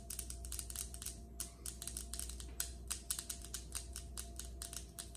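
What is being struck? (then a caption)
Granite countertop tapped with acrylic nails. Long acrylic nails of both hands tap fast on a large, solid, polished granite countertop. A quick, uneven run of sharp, bright clicks with very short ring sits over a steady low hum.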